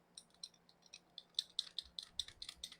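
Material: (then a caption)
Plastic. A brand-new toy airsoft pistol with an ordinary, non-fixed barrel is shaken, and its loose barrel rattles in a quick series of about fourteen sharp, bright clicks that grow louder toward the end. The rattling shows the barrel is loose, unlike a fixed-barrel unit.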